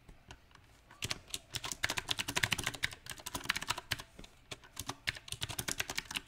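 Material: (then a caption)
Plastic. Fingertips of both hands type unevenly on a small 68-key backlit mechanical keyboard with round typewriter-style plastic keycaps set on a silver metal plate. After about a second of near quiet, bright, sharp clacks arrive in irregular bursts and pauses, each keystroke short and dry with almost no ring.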